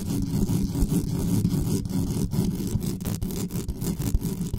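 Long nails scratch fast and hard across the top of the bare mesh grille of a dark metal USB condenser desktop microphone while hands grip it. The result is a dense, continuous, low-heavy rumbling scrape with frequent sharp crackling spikes and little high end.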